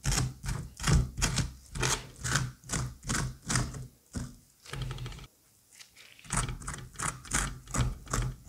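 A gloved hand scrapes and scratches the inside of a halved orange pumpkin's hollowed seed cavity with a white plastic curette, working the solid, fibrous raw flesh. Quick, uneven strokes give short bursts, each with a low, dull thud and a bright, wet scratchy top. The strokes briefly stop near the middle and then pick up again.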